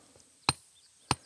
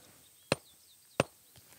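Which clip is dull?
The second.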